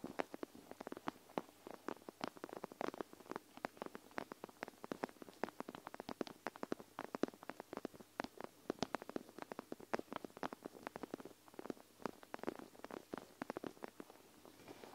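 Long nails scratch and tap a clear plastic panda eye mask filled with gel beads, folded over the recorder. The result is a dense, steady run of quick, dry plastic clicks and soft scratching with gentle squishy crackle, centered in the mids with little bass and no ring.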